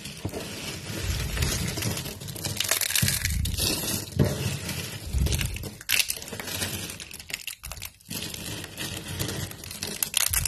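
Hands squeeze, crumple and tear thin, dry, translucent amber soap shavings into small brittle flakes on a light table. A dense, continuous run of crisp crunching and crackling is heard, bright and papery on top with soft low thumps underneath, briefly dipping quiet before the crumbling picks up again.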